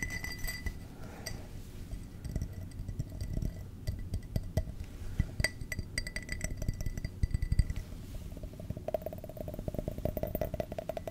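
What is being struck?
Cut-glass tumbler.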